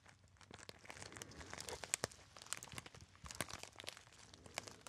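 A small, hollow, apparently empty gold metallized foil pouch is crinkled and rubbed by fingertips. Quiet, dense crackling runs throughout, broken by sharp, bright snaps that stop instantly with no ring.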